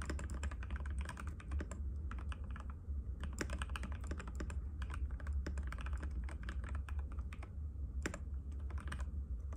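Fingertips of both hands type rapidly and continuously on a compact cream-white mechanical keyboard with plastic keycaps and a hollow case, resting on a glass table. A dense stream of short, clicky taps rides over a steady low hum.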